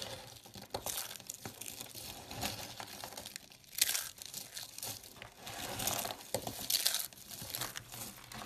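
Hands with long dark nails press and crush small hollow dried-soap tubes in pink, purple, blue and cream on a dark surface, breaking them into flakes. A dense, bright, crunchy crackle runs throughout, with louder crumbling bursts near the middle and toward the end. The tubes crumble apart into flakes under the pressure.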